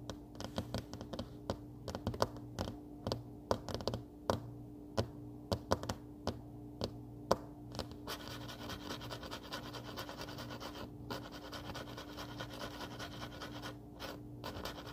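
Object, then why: Paper desk calendar pad on a wooden table. Fingernails of both hands tap and scratch rapidly on a flat paper desk calendar pad lying on a solid wooden table. For the first half there are sharp, separate dry taps with a steady low hum underneath. It then shifts into continuous bright, rustling scratching across the paper surface.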